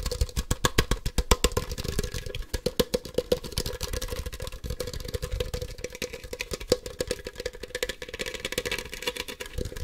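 A hand-sized hollow plastic Ultra Ball toy, a Poke Ball with white and black halves, is tapped rapidly with fingertips and nails. Fast, uneven clicky taps with a hollow tone near 500 Hz run steadily through the clip over a low rumble, each tap dying away almost instantly.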